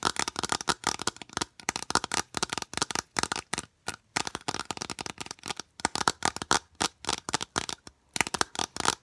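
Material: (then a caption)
Plastic. A long, hollow, white rigid plastic U-channel piece is held close and rapidly tapped and scratched with long nails. It produces fast bursts of bright, dry clicks and scrapes with almost no ring. Short pauses separate the flurries.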